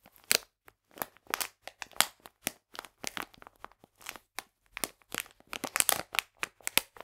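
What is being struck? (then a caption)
Plastic food package filled with polenta. A full, printed plastic package of polenta is squeezed and crinkled in both hands. It makes a dense run of sharp, dry crinkles and crackles for about seven seconds. The sound is bright and high with almost no low end, and each burst stops at once with no ring.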